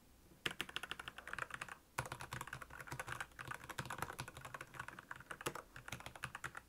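Fast fingertip typing on a black plastic Royal Kludge mechanical keyboard with backlit keys produces a dense run of short, bright clicks and clacks with almost no ring. A brief pause just before the two-second mark separates the bursts.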